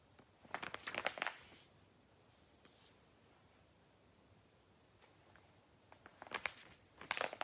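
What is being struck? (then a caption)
Glossy paper catalogue pages. Fingertips riffle and turn the thin pages of a thick, glossy paper toy catalogue resting on a lap, flipping the paper. Two bursts of crisp, bright papery rustling and flapping come near the start and again at the end, separated by a quiet stretch with only faint soft ticks.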